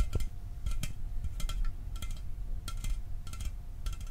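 A hollow, empty caffeine-free Mountain Dew aluminum can is held up and tapped with fingertips and nails. The taps come as short, bright metallic clicks, often in quick pairs, over a steady low rumble. Each tap dies away almost at once with very little ring.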